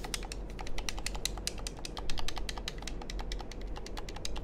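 Fingertips and nails rapidly press, click and tap the buttons and shell of a small, hollow, black plastic handheld game controller held close to the microphones. Dense, bright, dry clicks with very short decay ride over a steady low hum throughout.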